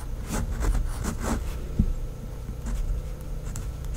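A pink fineliner pen tip writes names in cursive on a flat sheet of a white lined paper notepad. It makes continuous, bright scratching strokes that come in short bursts over a steady low background hum.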